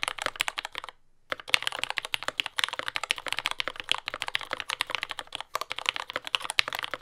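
A compact J-01 mechanical keyboard with lubed Yellow Gateron Ink switches, dark brown plastic keycaps and a carbon fiber plate, resting on a desk mat, is typed on continuously with the fingertips of both hands. It makes a rapid stream of short, crisp, bright clacks with almost no low end, broken by a brief pause near the one-second mark.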